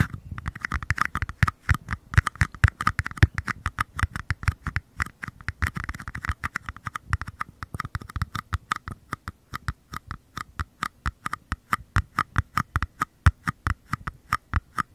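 Two identical small, hollow paper cups are held base-first close to the microphones while fingertips tap their paper bottoms, the cups also touching the capsule area. A fast, steady run of dozens of short, dry taps is heard, each a dull, low thump with a light papery click on top that dies away almost instantly.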